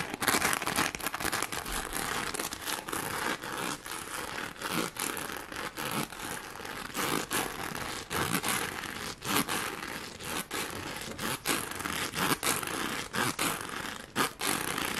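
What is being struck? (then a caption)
Plastic rhinestone sheet. A pink plastic rhinestone sheet is rubbed and scratched across its gem surface with long nails and fingertips. The result is a steady, bright crinkling scrape broken by many short gaps as the strokes restart, with no low boom beneath it.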